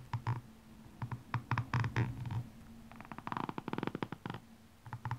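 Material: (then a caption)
Rubber. The pointed end of a metallic makeup brush handle scratches and taps along the red ridged rubber sole of a blue rhinestone high-heel shoe held in hand. It makes soft, low, rumbling scrapes with a purr-like buzz, broken by short bursts of quick ticking taps in the middle and at the end.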